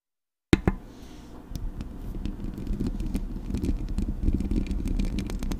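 Long acrylic nails scratch the metal mesh grille of a Blue Yeti microphone. After a brief silence, a sharp tap opens a steady, low, rumbling scrape that slowly grows louder. Scattered dry clicks and ticks run through it.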